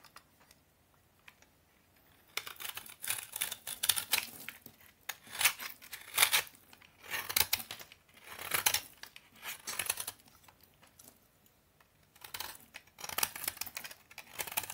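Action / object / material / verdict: scrape / bar of toilet soap shaved by a knife blade / soap / none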